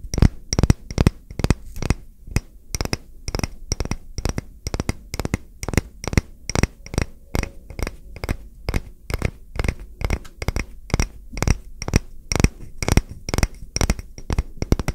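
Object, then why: Round wooden coaster. A solid, round, smooth-grained wooden coaster held in one hand is tapped with fingertips and short nails, giving a steady run of about fifty short, dry taps over fifteen seconds. Each tap is a soft, low knock with a faint bright click on top, and it dies away almost instantly.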